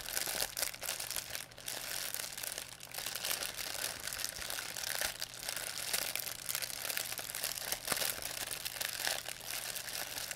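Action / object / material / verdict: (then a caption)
scrape / thin plastic shopping bag / plastic / none. A thin white plastic pharmacy bag with red and blue print, crumpled into a ball, is crinkled and squeezed in both hands by fingers with long painted nails. A dense, continuous run of bright, crisp crackles and rustles fills the clip with almost no low end, swelling and easing slightly as the plastic is worked.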